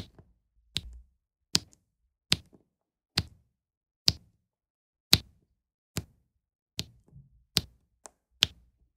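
A plastic drill pen taps small solid round resin diamond painting drills into place on a flat adhesive canvas of about 30x30 cm, while a white plastic tool presses down on the placed rows. The result is a steady series of light, bright, very short tapping clicks, evenly spaced with a faint low thump under each and quiet gaps between.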